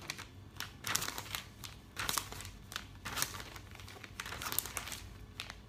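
Fingertips flip and brush the glossy pages of a thick, open paper catalog one after another. Bright, crinkly rustles and soft swishes come in irregular bursts, with quiet papery hiss between turns.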